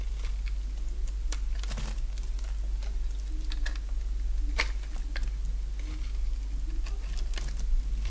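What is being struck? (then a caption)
Bar of soap cut with a blade. A solid bar of dry pink soap, held in the hand, is shaved with a box-cutter blade. The scraping cuts come through as short, crisp, bright ticks and rasps scattered across the clip, over a steady low hum.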